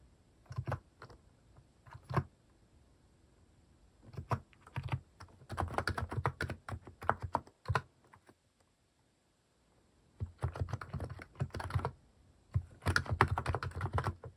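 Fingertips type on a compact mechanical keyboard fitted with cat-shaped plastic keycaps. Bursts of quick, low, thocky keystrokes come in clusters separated by short quiet pauses, with a silent gap near the middle before the typing resumes.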